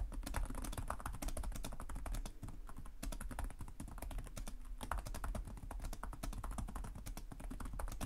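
Fingertips with short nails type continuously on the plastic chiclet keyboard of a black laptop resting on a desk. The rapid key taps form a dense stream of short, sharp clicks with bright edges over a steady low hum.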